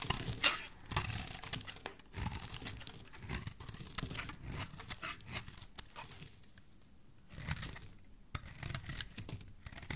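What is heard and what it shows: A solid rectangular teal soap bar held in hand is scraped and shaved with a metal utility blade, sending curls falling off. Repeated dry, crisp scraping and crumbling strokes sound bright and close, with short quiet gaps between bursts and a soft low rustle underneath.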